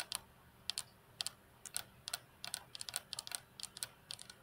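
Long natural fingernails of both hands tap on the flat, solid glass tabletop of a computer desk. The result is quick, bright, clicky taps, often in pairs or short clusters, each dying away almost instantly with no ring, over faint low background hum.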